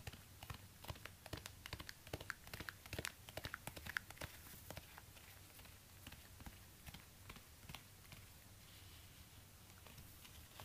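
Fingertips in orange rubber gloves tap and scratch the suede upper and sole of a black suede high-heel ankle boot resting on a stand. Quick, dry taps sit over a soft, steady low hum, with brighter clicks in the first half. They then give way to quieter, brushing scratches toward the end.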